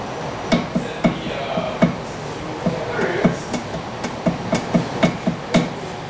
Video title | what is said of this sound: 1979 Porsche 911 Inspection Report | you're going to see and hear that there's some wheel bearing play in here